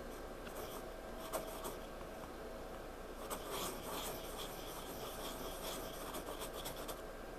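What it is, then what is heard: Pencil drawing on a paper sketchbook page. A hand drags a pencil tip across a page of a spiral-bound paper sketchbook in drawing and shading strokes. The result is a quiet, steady, scratchy rubbing with bright streaks of graphite texture and a couple of slightly sharper strokes, over a low background hum.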